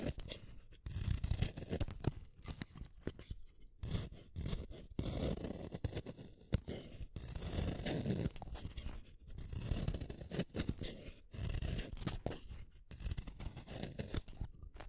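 A green wooden colored pencil, a small solid stick, is turned one at a time against the metal blade of a yellow plastic hand sharpener, cutting off long shavings. Rough, gritty scraping strokes repeat in bursts with brief pauses between them, weighted toward a low rumble with a faint bright edge.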